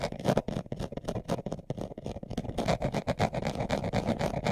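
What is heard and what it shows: A brown leather-covered glasses case, hand-sized, hollow and closed, is held in both hands while its surface is scratched fast with short nails and fingertips. The result is a rapid, uneven run of dry, rasping scrapes with a dull, hollow body centred in the low-mid range and very little high brightness. Each stroke stops almost immediately with no ring.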